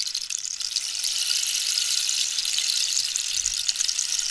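A long, hollow, dried-cactus wooden rainstick with a holed surface is held diagonally while long pink nails tap and scratch the wood. The result is a continuous bright, hissy rustle with dense, fast crackling ticks. Faint low thumps sit underneath near the end.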